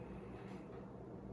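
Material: Nothing is struck.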